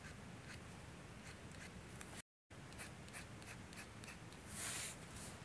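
A metal G-pen nib in a blue holder scratches across a flat, thin sheet of manga manuscript paper while drawing hair lines. Quick, scratchy nib strokes run over a steady low rumble, with brief bright flicks on each stroke. The sound drops out completely for a moment, then a louder, brighter scrape comes near the end.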